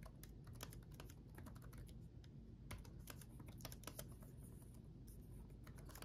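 Both hands type rapidly with their fingertips on the backlit chiclet keyboard of a black laptop, its plastic keycaps resting on a solid chassis. Quick, bright, light clicks patter in an irregular stream over a steady low background hum, each tap dying away almost at once.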